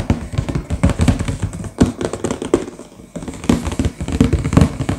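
Two hands tap quickly with fingertips and short nails on the front cover of a sealed, medium-sized, hollow cardboard LEGO box that is full and lying flat. A rapid, uneven run of short, dull, hollow taps sits mostly in the low range, with light nail clicks on top. The tapping briefly drops away just after the three-second mark and then picks back up.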